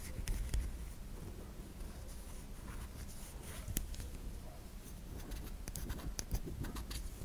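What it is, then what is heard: Bar of soap tapped and scratched. A solid white bar of soap held in the hand as long nails tap and scratch across its surface and side. The result is a quiet, uneven run of soft, dry clicks and scratchy strokes, with a few sharper taps standing out over a low rumbling background.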